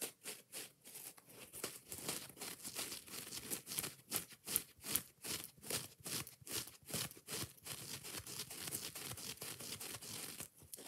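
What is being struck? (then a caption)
Foam kitchen sponge with scouring pad. Long nails quickly scratch, rub and tap the foam surface of a hand-sized yellow kitchen sponge with a green scouring pad. The result is a quiet, rapid run of bright, dry, crinkly scratching strokes at a loosely steady pace, each cutting off almost at once.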